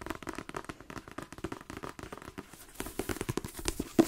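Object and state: Paperback book.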